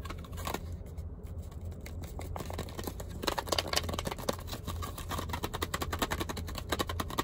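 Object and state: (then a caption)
Plastic and cardboard toothbrush package. A toothbrush in a long, narrow, hollow clear plastic blister on a cardboard backing is tapped and scratched with fingertips and nails. The result is a dense run of quick, dry plastic clicks and crinkly scrapes over a steady low hum, growing busier and sharper in the second half.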